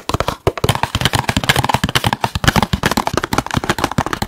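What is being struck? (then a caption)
Cardboard food box. Fingertips and nails tap quickly on a small, hollow, apparently empty red and white printed cardboard KFC food box close to the mic. The result is a fast, steady stream of dry, short taps, each pairing a soft low thump with a crisp, bright click and dying away almost instantly.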